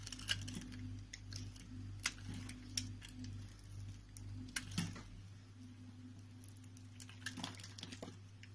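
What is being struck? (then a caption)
Bar of soap cut with a knife blade. A solid, pale green rectangular bar of soap, held in the palm, is sliced and scraped with a utility knife blade. The result is a series of quiet, crisp scrapes and sharp, bright clicks. A steady low hum runs underneath and drops away after about five seconds.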